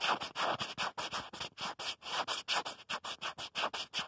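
Fingertips rapidly tap and scratch the back of a smartphone in a black plastic protective case. About 22 short, dry, scratchy bursts follow one another at an uneven pace, each bright and broadband with little low end.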